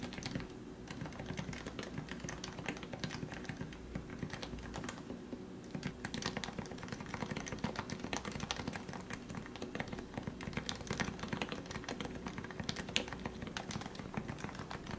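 A compact Leopold FC660C lubed 45g Topre keyboard, with a white plastic case and grey and white plastic keycaps, is typed on with the fingertips of both hands. A steady, rapid stream of soft, muted thocky keystrokes runs throughout, with a low body around 200 Hz, short decays and occasional brighter clacks.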